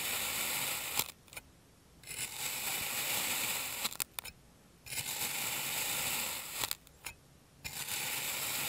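A clear plastic serrated knife slices a solid purple kinetic sand rose into layers, making long, bright, gritty scraping strokes. The strokes are separated by short quiet pauses with small clicks as the knife lifts and sets down again.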